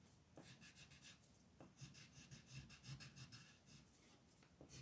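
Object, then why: Wooden colored pencil on a paper sheet. An orange wooden colored pencil rubs and scratches in small, quick strokes around the centre of a mandala on a flat printed paper coloring sheet lying on a desk, while the other hand holds the sheet steady. Bursts of bright, dry scratching come in loose, uneven clusters over a soft low rustle, with brief duller taps in between.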